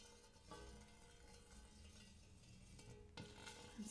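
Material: Brass-coloured metal.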